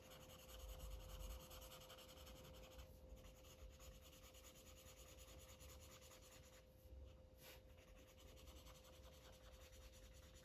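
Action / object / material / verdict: scrape / felt-tip marker on a thin paper page / paper / none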